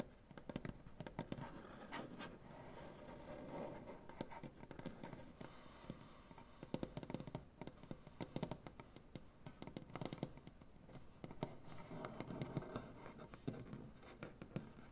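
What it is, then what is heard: Solid wooden butcher-block table. Fingernails scratch and tap across a large, solid wooden butcher-block tabletop, using both hands. Quick, dull, low-heavy taps with very short ring punctuate a steady, quiet scratching texture throughout.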